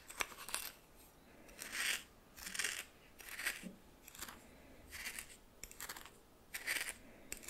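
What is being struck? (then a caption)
Coarse salt crystals in a small bowl stirred with a plastic spoon. A red plastic spoon stirs coarse white salt crystals against a small hand-held bowl, making soft, dry, gritty scraping and crunching bursts. The bursts are irregular and bright, with crisp grainy crackle and little low end.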